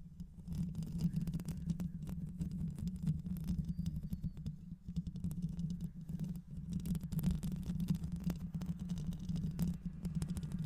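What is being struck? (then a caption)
Microphone with metal mesh grille. Long acrylic nails on both hands scratch and tap over a fist-sized, hollow black microphone head with a metal mesh grille. The result is a dense, continuous stream of rapid scratches and soft taps, heavy and muffled in the low end around 160 Hz, with little brightness. The tapping holds a steady level throughout.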